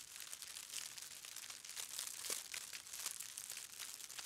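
A large bundle of dry, hollow-stemmed grass or straw stalks, like a broom head, is held up while hands rub, bend and crinkle the light fibres. The result is a continuous, bright, dry crinkling with dense small crackles and no low end.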